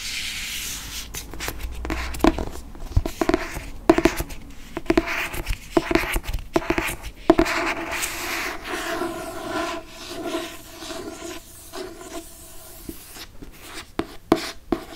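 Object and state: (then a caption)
Hardcover book. Fingernails rub and scratch across the cover and spine of a hardcover paper book with a moon cover. The result is a steady, dry, papery scratching and brushing texture, broken by frequent short, sharp scrapes and taps. A faint low hum sits underneath in the first couple of seconds.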